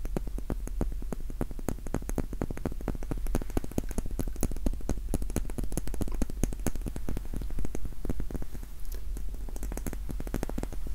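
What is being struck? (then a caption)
Wax pillar candle. A small, solid pink wax pillar candle is held in both hands close to the microphone while its sides are tapped and scratched with fingertips and short nails. The result is a dense, steady run of quick, dry taps and light scratches that stop at once without ringing, over a constant low hum.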